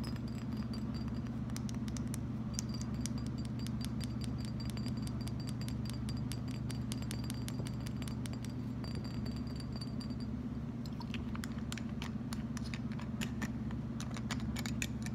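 A small, clear Absolut glass vodka bottle with a metal screw cap, apparently empty, is tapped with fingertips and nails while fingers run over the cap and body. Quick, fairly irregular bright clicks and clinks repeat throughout over a steady low hum.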